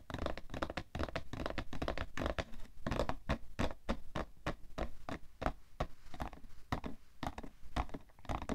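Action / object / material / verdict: tap / cardboard tissue box / cardboard / none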